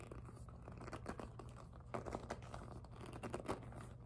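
Long nails scratch, tap and grip the glossy plastic of a hollow pink jelly PVC handbag. The result is a quiet, steady stream of soft crinkly scratching punctuated by short, dry taps over a low background hum.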